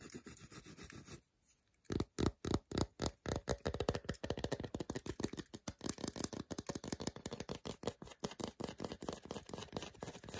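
Long nails repeatedly scratch the flat back of a solid milk chocolate bar held in the hand. A soft, dry scratching opens the clip, followed after a brief pause by a rapid run of short, dull scraping strokes with a low, muffled body.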